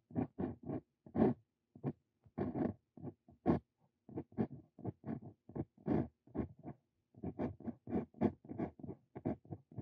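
A Brause Cito Fein steel dip pen nib scratches text onto a lined paper sheet in a steady run of short, dry scratching strokes separated by brief pauses. The scratches are soft and papery, sitting mostly in the low and middle range with little bright content.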